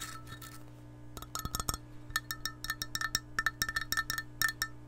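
An empty, hollow, clear glass measuring cup with a handle is tapped by long nails. The taps come as rapid, bright clinks with a short ringing tone over a faint steady hum. They scatter loosely at first, then pick up into a quicker, uneven run.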